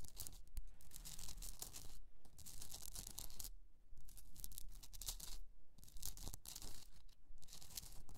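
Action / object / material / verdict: scrape / hollowed rock-salt candle holder / rock salt / none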